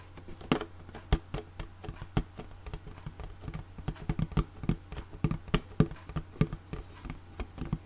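Long fingernails tap on a small, closed, hollow red hard plastic makeup case with a ridged, embossed surface and a metal clasp, held upright. The result is an uneven run of quick, dry clicks and light scratches with no ring, set over a steady low hum.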